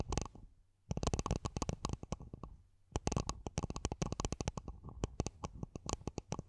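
A small, empty, matte black hollow plastic mini planter pot covering the top of a microphone is gripped and tapped on its sides with long nails. Quick bursts of dry, hollow taps with a deep, boomy low end and brief bright clicks follow one another, with two short pauses between bursts. The taps stop almost at once, with no ring.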